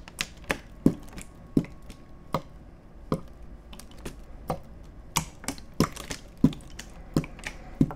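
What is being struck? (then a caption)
Plastic water bottle. An empty, hollow clear plastic (PET) water bottle is held horizontally in both hands and squeezed and crinkled with the fingertips close to the microphones. It gives irregular, sharp crackles and clicks with bright edges and quick decay over a soft background hiss.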